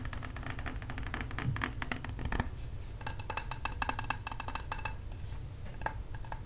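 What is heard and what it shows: A medium glass jar candle filled with wax and topped with a metal lid is held in the hands and tapped and scratched with long nails on its glass sides and metal lid. Rapid, light clicking taps mix with scratchy rubbing, and brighter, sharper ticks stand out near the end. Each tap is short and dry and dies away almost at once.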